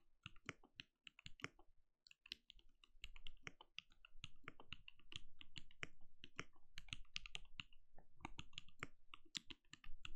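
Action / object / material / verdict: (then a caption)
tap / plastic mechanical keyboard / plastic / none. Fingertips of both hands type rapid key taps on a compact backlit mechanical keyboard with plastic keycaps and a translucent glowing case. Each keystroke is a short, dry click with a low thud underneath and a bright top, dying away almost instantly. The typing runs in fast bursts with a brief pause near the two-second mark, then continues steadily and a little louder to the end.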